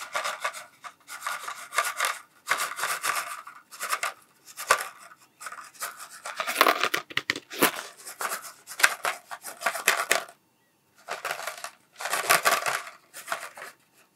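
A cardboard Smarties tube is held close and rubbed and scratched along its side with fingers. The result is a series of dry, rasping scratch bursts, bright and papery with no low end, separated by short pauses.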